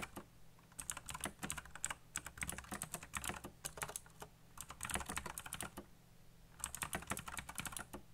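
Fingertips type fast on a backlit black plastic mechanical keyboard with RGB lighting and hollow key switches, tapping out rapid bursts of short, dry clicks with bright, crisp tops. The clatter comes in several quick runs separated by brief pauses, over a faint low hum.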